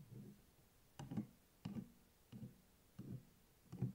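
A closed A5-size hardcover spiral notebook with a purple printed cardboard cover and metal spiral binding, a solid paper block lying flat on a table, is tapped and scratched on the cover with fingertips and nails. Six soft, dull, low-pitched taps with brief scratchy texture are heard, evenly spaced and dying out almost immediately.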